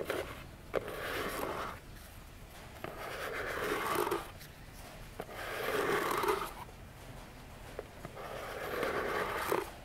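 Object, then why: Small cardboard box. Long nails scratch and tap the front face and edges of a small, hollow orange cardboard box with a silver foil "Vione" print, standing upright on a table. Slow swelling bursts of dry, papery scratching rise and fade in turn. Five short, sharp taps stand out between them.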